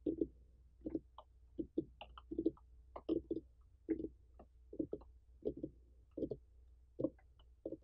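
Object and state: Whole pumpkin.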